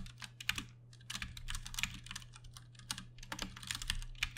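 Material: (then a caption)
Plastic. Fast typing by both hands' fingertips on a Ducky One 2 Mini, a compact 60% RGB-backlit mechanical keyboard with plastic keycaps and Cherry MX Brown switches, resting on a desk. It produces a rapid run of short, bright plastic clicks and clacks with brief pauses, over a steady low hum.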